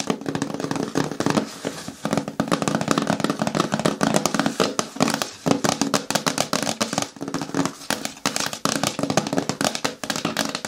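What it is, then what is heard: Hard plastic bin with lid. Long nails rapidly tap and scratch the lid of a green hard plastic bucket lying on its side. The result is a dense, continuous stream of quick, dry clicks with rasping scrapes, carrying a hollow plastic resonance around 280 Hz. Each tap dies away almost instantly.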